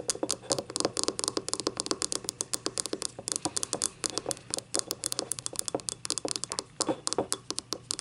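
Long nails tap and scratch the labelled bottom and ribbed side of a small, hollow, empty yellow ribbed ceramic cup lying on its side. About fifty quick, crisp taps follow one another in a steady stream, each bright and clicky with a brief mid-toned knock and almost no low end. The taps die away almost instantly, with soft scratching between them.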